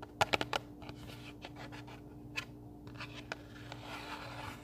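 A small pink printed cardboard recipe box, closed and hollow, is held in both hands and scratched and rubbed with fingertips and nails. A quick cluster of sharp, dry clicks opens the clip, followed by soft, papery scratching with a few isolated taps and a brighter rubbing swell near the end, all over a faint steady hum.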